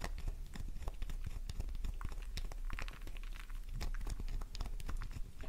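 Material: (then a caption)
Soap. A solid pink soap bar with crosshatched scratch marks is scratched rapidly with long nails, sending flakes flying. The result is a dense, continuous stream of short, crisp scratching and crunching clicks over a low, steady rumble.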